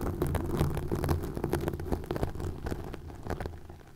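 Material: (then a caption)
Plastic. Fingertips and nails scratch and rub green plastic mesh netting stretched over a microphone. The result is a dense, irregular run of crackly scratches over a deep, muffled rumble, with most of the energy low and little brightness. The sound fades slightly toward the end.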